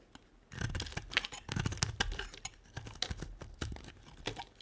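A blade from a utility knife shaves and cuts a solid, hand-sized, white rectangular bar of dry soap. After a brief quiet moment, a dense run of crisp, crunchy scrapes and snaps follows, with bright, sharp edges over a dull low thud. Each cut is short and dry, and none rings on.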